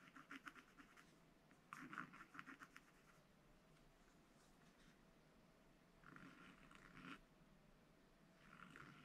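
A pointed wooden stylus held in the fingers scratches short strokes across a thin, solid black-coated rainbow scratch paper sheet in a spiral-bound scratch book lying open flat, drawing a chick's face. Quick bursts of dry, papery scratching come in clusters around the start, near two seconds, at six to seven seconds and at the end, with quieter pauses between them.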